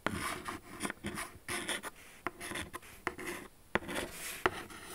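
Long acrylic nails scratch the velvety, textured lid of a large pale pink Jimmy Choo cardboard shoe box, making dry rasping strokes. Sharp, brief clicks sound where the nails catch the surface.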